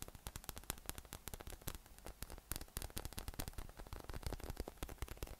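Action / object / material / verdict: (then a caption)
tap / inflated PVC massage ball with nubs / PVC plastic / none. A yellow, hollow, inflated PVC spiky massage ball with nubs is held in one hand and tapped quickly with the fingertips. The result is a rapid, uneven patter of dozens of short, dry taps. Each tap dies away almost instantly over a steady low hum and faint hiss.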